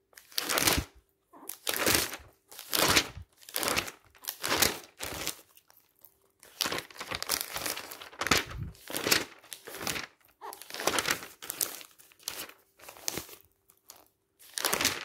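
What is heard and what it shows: Fingertips quickly flip and rub the pages of a thick glossy paper magazine lying open. Short, bright, crinkly paper swishes and rustles come in rapid bursts separated by brief pauses, with almost no low end. Some bursts run together into longer stretches of continuous rubbing.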